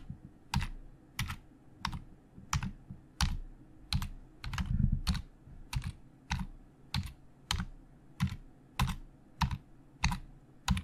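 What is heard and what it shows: Slow fingertip typing with both hands on a hollow black plastic Logitech keyboard. Evenly spaced, quiet key presses each give a short bright click over a soft low thump that dies away almost at once.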